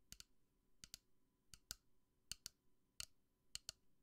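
Long nails tap and click on a pink plastic bunny lamp with a black base while it is held. Quiet, bright, dry clicks come in quick pairs spread across the clip, each one sharp and dying out instantly with no ring.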